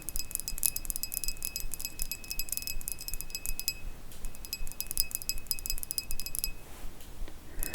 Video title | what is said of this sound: ASMR Thrift haul from France! (🎧 soft spoken, tapping, ceramic sounds, Jewelry) | Oh, that sounds lovely. So many glass sounds today.